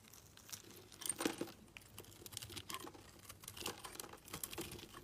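A solid yellow soap bar held in the fingers is shaved with a utility knife blade, and the crumbs fall onto a pile. Soft, rapid, bright crinkly scraping and crumbly crunches repeat close together, with a louder cluster near the start.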